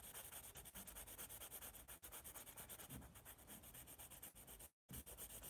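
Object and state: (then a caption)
Pencil shading on a paper sketch pad. A yellow pencil rubs and shades across the sheet of a white paper sketch pad held by its top edge. Rapid back-and-forth strokes make a steady, dry, scratchy rasp with a bright hiss on top. It breaks off briefly near the end before resuming.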